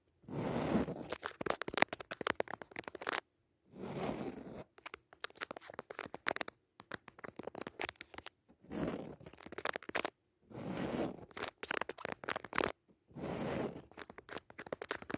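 Four long natural nails scratch into the weave of a soft, padded woven jacquard fabric cushion with a red leaf pattern. Dense, rasping scratch bursts, bright with a mid-range body, alternate with quicker stretches of sharp, crackly strokes. Brief silences separate them.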